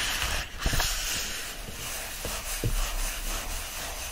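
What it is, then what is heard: Paperback book pages being rubbed. Palms clasp a bundle of pages standing upright in an open paperback book and rub them together. This makes a steady, dry, papery hiss over a low rumble, with a few brief, louder scuffs along the way.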